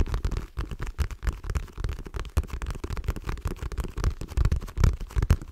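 A dark patterned faux leather wallet, held in one hand, is tapped and scratched with long nails. The result is a dense run of fast, dull, low thuds mixed with scratchy rustling. Each tap dies away almost at once.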